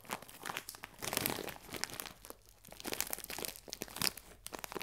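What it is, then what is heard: Plastic bag of biscuits. A clear plastic film bag full of biscuits is squeezed and crinkled with both hands. Dense, bright crackling and crinkling come in uneven bursts with short sharp snaps and brief quieter gaps. There is little low end.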